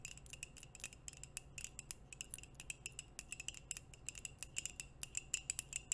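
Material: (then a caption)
Ceramic. Long nails and metal nail rings tap quickly on a hollow white ceramic coffee mug with a printed logo. The result is a rapid, irregular run of bright, clicky ticks, each with a brief high glassy ring that dies almost at once. Between the taps there is a faint low hum.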